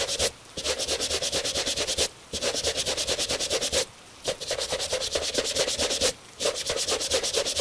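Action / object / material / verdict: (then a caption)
scrape / leather shoe scrubbed with a bristle brush / leather / none. A gloved hand scrubs a tan Italian leather dress shoe, fitted on a wooden shoe tree, with a bristle brush. Quick back-and-forth strokes make a bright, scratchy hiss with a steady midrange tone underneath. The strokes come in several bursts separated by brief pauses.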